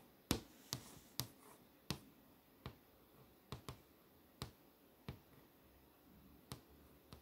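Fingers with long nails tap across the poster tiles on the flat glass screen of a touchscreen display. Eleven sharp, separate clicks sound at uneven intervals, each a bright, dry tick that dies away almost instantly over a low, quiet background hiss.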